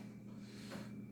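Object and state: Nothing is struck.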